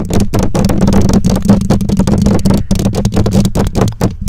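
Long nails scratch and tap the bare black metal mesh grille of a condenser microphone. The result is a dense, continuous run of rapid, boomy scrapes and taps, heavy in the lows with a steady tone near 200 Hz, and short bright flicks above it.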